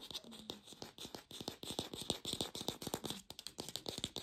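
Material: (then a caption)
Plastic. An artificial plastic pear is tapped fast with a lo-fi sound, giving a rapid stream of short, dry clicks that stop almost at once. The taps are bright and crisp, with a steady high tone near 3.7 kHz and only a little low-end body.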